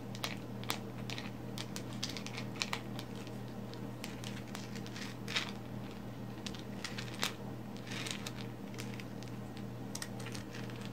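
Very long pink acrylic nails scratch and tap all over a fist-sized solid black lump of coal, held over a woven placemat. The result is a steady stream of quiet, bright, crinkly scratches with short sharp ticks from the nail tips, over a constant low hum.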